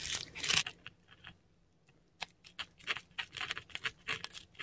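A metal dip pen nib scratches across a flat sheet of textured Korean paper, close up, as ink letters are written. The sound is dry and bright, with rough papery scrapes broken by pauses, then a run of short, crisp strokes.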